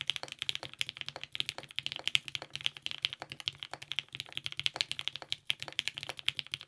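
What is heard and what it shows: A compact TGR 910 RE mechanical keyboard with lubed 55g Nixie switches, purple GMK ABS keycaps, a polycarbonate plate and a clear case sits on a desk and is typed on with the fingertips of both hands. Steady, rapid typing produces a dense run of short, bright clacks centred around 3.3 kHz. Each keystroke dies away almost instantly, with very little low end.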